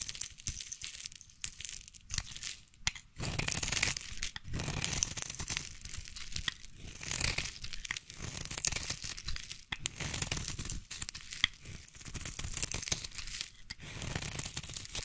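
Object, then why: Solid bar of soap. A solid peach-and-white striped bar of soap, held in hand, is carved with a small blade, and thick curls break off. Dense, bright scraping and crisp tearing crunches repeat steadily with brief pauses between strokes, and there is no lingering ring.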